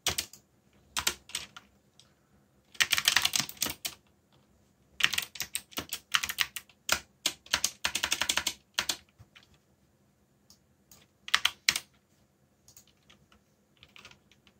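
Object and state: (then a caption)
Plastic mechanical keyboard typing. Fingertips with short nails, one finger bandaged, type rapidly on a backlit full-size mechanical computer keyboard with plastic keycaps bearing Korean legends. Bright, crisp clicks come in quick bursts separated by short pauses, each tap dying away almost instantly with little low end.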